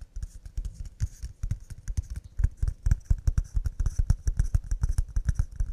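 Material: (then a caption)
Pine wood. Cups made of pine wood are tapped quickly and delicately, giving a fast, uneven run of short, dull knocks. Each tap is deep and thuddy, dies away almost at once, and carries a faint bright click on top.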